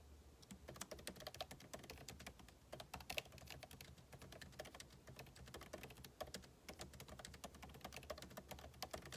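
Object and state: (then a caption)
Laptop keyboard, fast typing on plastic keys. Two hands type quickly with fingertips and short nails on the backlit keyboard of a MacBook Pro laptop, its plastic keycaps set in a hollow aluminum case. The result is a continuous stream of short, bright key taps that die away almost instantly, over a low steady hum.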